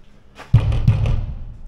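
Knocking on a booth or container at an industrial site to test whether it is empty. The knocks give deep, drum-like, booming thuds that linger in the low end. The hollow sound shows the booth is empty.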